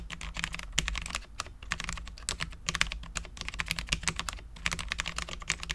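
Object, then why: Low-profile mechanical keyboard with ABS keycaps on a steel plate. Both hands type continuously with their fingertips on a Cherry MX10.0, a full-size low-profile mechanical keyboard with Cherry LP switches, dark ABS keycaps and a steel plate. The result is a rapid, uneven stream of short, crisp, bright key taps with very little ring, over a faint steady low hum.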